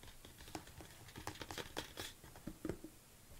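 A large red plastic BCAA supplement tub with an orange lid is tilted in the hands while long nails tap and scratch across its lid and labelled side. Short, dry, hollow plastic taps come in an irregular series over a soft, crinkly scratching texture. Each tap dies away almost instantly, and the whole sound stays quiet and close.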